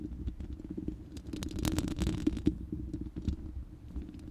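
Long nails scratch the bare, round steel mesh grille of a hollow studio microphone. The result is a dense, low, rumbling scratch made of quick, irregular scrapes. It swells into brighter, louder strokes in the middle, with a couple of sharp peaks, then settles back down.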